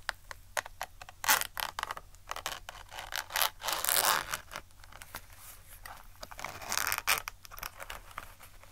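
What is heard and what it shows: Long acrylic nails scratch, tap and rub across a small, flat black zip case with a quilted, textured faux leather surface, held close in front of a microphone. The result is a dry, bright, irregular patter of scrapes and clicks, swelling into louder rubbing bursts around 1.3, 4 and 7 seconds over a faint low hum.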